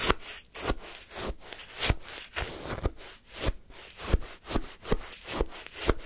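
A wooden spoon scrapes and scoops lemon shaved-ice sorbet in a small paper cup. The result is a steady series of crunchy, gritty scraping strokes with bright, icy texture over a low rumble. Each stroke cuts off quickly with no ring.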